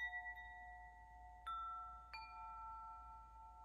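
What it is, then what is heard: Metal tube wind chime. Fingertips tap hanging hollow metal tubes of a wind chime, producing bright, bell-like ringing tones near 2 kHz. Each tap adds a fresh ring over the sustained earlier tones, which decay slowly and overlap into a shimmering blend.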